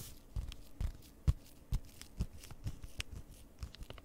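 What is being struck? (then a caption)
Cardboard kit in plastic wrap. Long red nails quickly tap and scratch the front of a flat cross-stitch kit, cardboard wrapped in plastic, held upright. The taps are short, dull, low thuds at an uneven, fairly quick pace, with faint bright scratchy crinkles between them and almost no ring.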